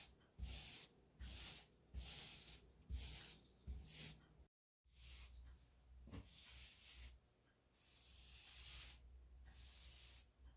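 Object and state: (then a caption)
Paintbrush stroking textured drywall. A wide paintbrush with a wooden handle strokes wet paint over a solid textured drywall wall beside an open light switch box. The first half has short, separate bristly swishes with bright, hissy rubbing over a low rumble. After a brief silence come longer, smoother brushing passes.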